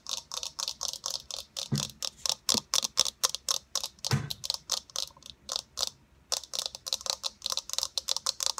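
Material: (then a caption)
Plastic. Long nails tap rapidly on a hollow, fist-sized white plastic eyeball sphere with a printed blue iris, making about 39 crisp, bright clicks. The clicks are dry and high-pitched, with two duller thumps near 1.7 and 4.1 seconds and a brief pause around 6 seconds.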